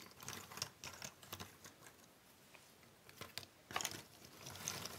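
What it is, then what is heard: Cardboard jigsaw puzzle pieces. Fingertips and long painted nails rub, spread and shuffle a large loose pile of small, thin cardboard jigsaw puzzle pieces on a wooden table. The result is quiet, bright, papery clicking and rustling, with scattered light taps and a quieter stretch in the middle, then denser shuffling bursts toward the end.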